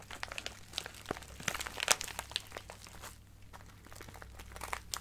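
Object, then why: Plastic bag of acrylic gems. A small clear plastic bag with a cardboard header, full of colorful acrylic craft gems, is squeezed and crinkled with fingertips and nails. Bright, crisp crinkles and sharp crunchy clicks come in quick bursts over a faint steady low hum. The crinkling eases to a quieter rustle partway through, then picks up again at the end.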